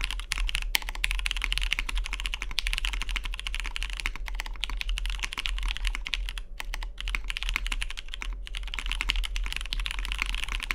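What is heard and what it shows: Fingertips type continuously on a Matrix 2.0OG tenkeyless mechanical keyboard with lubed vintage MX Brown switches, a cyan anodized aluminium case and cream plastic keycaps, resting on a deskmat. A rapid stream of short, crisp clacks peaks around 2.2 kHz with bright upper detail, and each keystroke dies away almost instantly. A steady low hum sits underneath the typing throughout.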